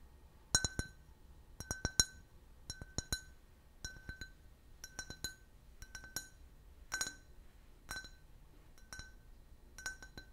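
A clear, empty, can-shaped glass beer glass with a printed logo is held in the hand and tapped and scratched with fingernails. Clusters of short, bright clinks with a tonal ring near 1.5 kHz and high overtones sound in quick pairs and triplets, decaying almost instantly over a faint low background hiss.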